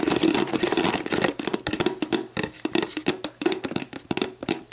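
Long black painted nails tap and scratch an empty, hollow, clear plastic Gatorade Zero bottle lying on its side on a table, working over its paper-like label and ridged bottom. A rapid, uneven stream of crisp clicks and dry scratchy rasps fills the clip, each tap short with a faint hollow plastic ring and a bright, papery edge.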